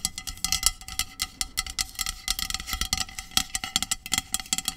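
Long pink nails tap and scratch rapidly on the body of a hollow, medium aluminum dry shampoo aerosol can with a plastic cap. The result is a quick, uneven run of bright, crisp clicks and scraping strokes with a faint metallic ring that dies away almost at once.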